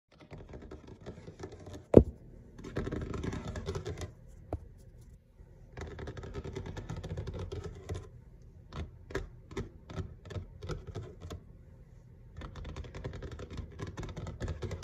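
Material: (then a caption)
Laminate. Fingertips and short nails of both hands tap on a large, flat, solid grey kitchen countertop, probably laminate. Bursts of quick, dry, muffled tapping alternate with brief quiet pauses, and one sharp, louder click stands out near the start.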